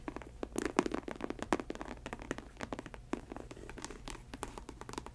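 Long acrylic nails tap and scratch the upper and the black rubber lug sole of an empty, hollow Chelsea-style ankle boot in black-and-white snakeskin-print faux leather with a studded welt. The result is a quick, uneven run of dry clicks and scraping scratches that die away almost instantly. A faint steady low hum sits underneath.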